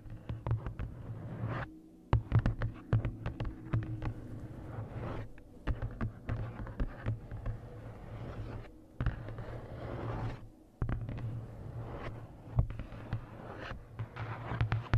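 Long nails tap the front card cover of a large paperback coloring book in quick, irregular runs of dry, short clicks with brief pauses between them. A steady low hum sits underneath throughout.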